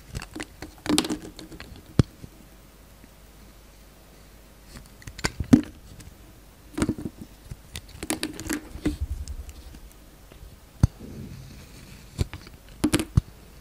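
A utility knife blade peels shavings off a solid green glitter-coated soap bar held in the hand. Short bursts of soft, dry scraping and cutting come in scattered clusters, with faint crackly patter and a few sharp ticks between quiet pauses.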